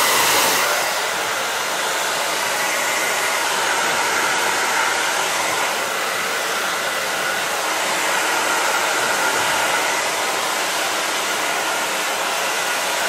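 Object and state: Nothing is struck.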